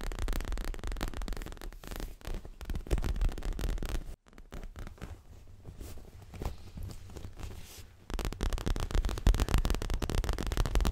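Fingernails tap and scratch quickly across a stuffed dark grey leather throw pillow, working along its sides and front. The dense, dull, bass-heavy patter eases into a quieter, softer stretch of scratching midway through, then returns to loud, rapid tapping.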